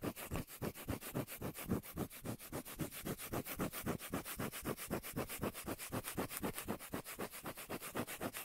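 A cork lid's surface is scratched in quick, steady back-and-forth strokes, about four per second. The result is a dry, rubbing, sanding-like rasp with a soft low thump under each stroke.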